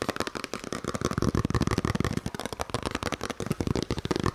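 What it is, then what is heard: Paper envelope being crinkled and flicked. A small, empty white paper envelope or card is held in both hands while fingers fold, flick and crinkle it close to the microphone. The result is a rapid, continuous stream of dry crackles and papery snaps with short bursts of low thumps and almost no ring after each contact.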